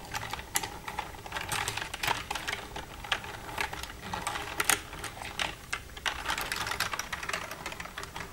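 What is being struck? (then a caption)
Plastic computer keyboard. Long red-painted nails tap and type across the keys of a black plastic desktop computer keyboard with a hollow casing, using both hands. A steady, uneven stream of quick, bright plastic clicks and clacks follows, each dying away almost at once, with little low end and a few sharper taps standing out.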